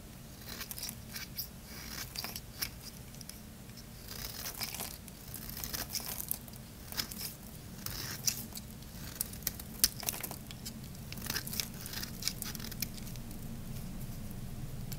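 A solid green Lux bar soap held in one hand has its surface scraped and shaved with a metal blade, letting fine flakes fall. Dense, bright, crackly rasps and short sharp scratches come in quick bursts over a steady low hum, with a few louder crisp snaps standing out.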